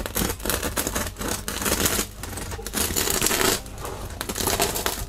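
A serrated metal knife saws through a large, solid, round, crusty homemade bread loaf with a floured crust, held by fingertips on a wooden cutting board. Each cutting stroke brings bright, crackling, crunchy bursts from the crust, with brief lulls between strokes.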